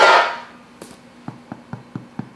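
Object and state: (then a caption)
Baked-through bread loaf (hollow). A freshly baked loaf of beer toast bread is knocked after baking, giving five short, dull, hollow knocks at an even pace after a fading sound at the start. The hollow sound shows the bread is baked through, and it looks light and well baked inside when cut open.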